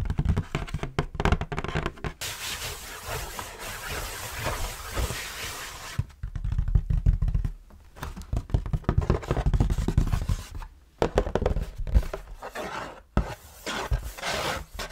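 A large, flat, printed cardboard board game box (Rummikub-style), hollow with its contents inside, is held up in both hands and tapped and scratched across its face with long painted nails. Quick dull taps and soft, hissy scratching alternate, with a deep, hollow low-end thump.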